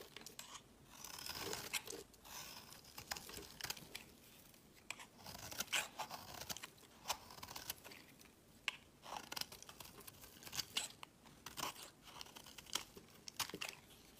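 A solid, opaque peach soap bar held in the hand is shaved with a utility blade into shavings. Quiet, bright, crisp scraping and crunchy shaving strokes come in bursts, with sharp clicks as the blade catches and peels the soap away.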